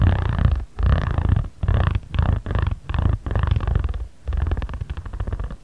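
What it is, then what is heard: Paper origami pad rubbed with a ridged roller. A ridged jade roller is rolled and rubbed across a flat origami paper pad, moving from right to center. The result is a deep, purr-like rumbling texture in bursts of rolling strokes separated by brief pauses, with the last stretch breaking into quicker, finer rubs.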